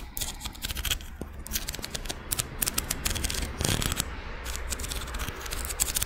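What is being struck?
Ribbed scallop seashell.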